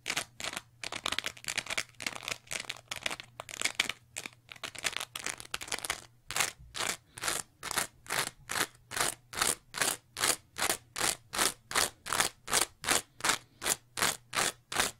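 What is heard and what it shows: Long nails scratch and squeeze a green, bumpy, layered foam scrub sponge, making bright, dry crackling and crunching. For the first six seconds the scratching is dense and irregular. After that it settles into a steady rhythm of separate rasping strokes, with a faint low hum underneath.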